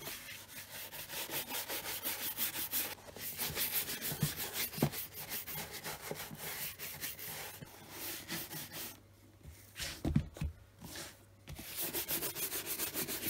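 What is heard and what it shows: A tan leather brogue country boot, hollow with a shoe tree inside, is brushed with a hand-held horsehair brush with a wooden back. Rapid, repeated strokes sweep across the leather upper with a bright, scratchy rubbing sound. A few soft knocks come through, and near the end the strokes briefly pause before resuming.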